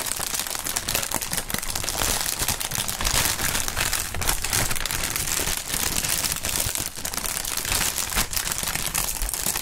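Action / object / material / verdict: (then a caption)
scrape / plastic air-cushion packing film / thin plastic / none. Thin, clear plastic air-pillow packing film, partly inflated, is held up and crinkled and squeezed by both gloved hands. A dense, continuous bright crackling of rustling plastic fills the clip at a steady level, with soft low thumps from the squeezed cushions underneath.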